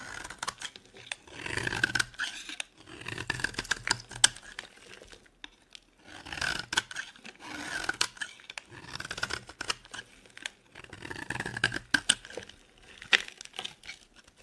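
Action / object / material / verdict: scrape / bar of laundry soap / soap / none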